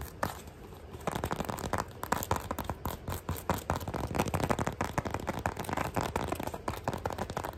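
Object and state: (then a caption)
Rubber shoe sole scratched. Long nails and fingertips scratch fast along the chevron tread of a beige ribbed rubber sole on a flat shoe, held close. After a quieter first second, a dense run of rapid, dry, rasping scrapes and ticks follows, centered in the mid range with a low rumble underneath. Each stroke dies away almost instantly.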